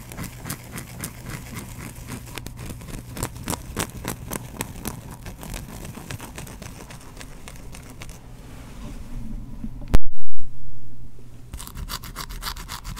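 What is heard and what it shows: A hand-sized solid white bar of soap, held in one hand, is scratched with the fingernails of the other, producing rapid, dry scratchy crackles over a steady low hum. Around the ten-second mark a sudden loud burst cuts through, then the bright scratching resumes.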